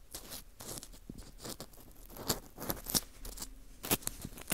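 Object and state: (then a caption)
Dried wheat gluten (fu) ring scraped. A dry, porous slice of dried wheat gluten fu with a hole in the center is scraped inside the hole with an orange plastic earpick. The result is a run of soft, crisp scratches and crunchy rasps, with brighter, sharper scrapes standing out near the middle and end.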